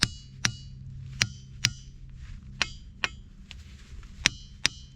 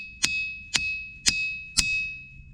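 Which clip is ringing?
The second.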